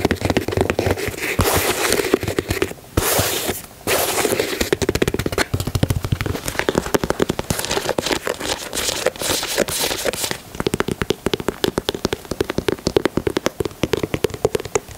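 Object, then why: Leather sneaker upper. A hand-held, hollow, empty white leather Air Jordan 4 high-top sneaker is tapped and scratched with fingernails on the leather upper near the heel and collar. Dense, crackly runs of quick taps and scratching rasps run throughout with brief pauses. The leather gives a dry sound with a low-mid hollow body.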